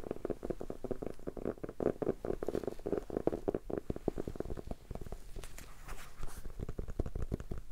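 Fingertips tap on a solid red hardcover notebook with a ribbon bookmark, held close up. A steady flurry of soft, dull, low thuds patters throughout, each dying away almost at once.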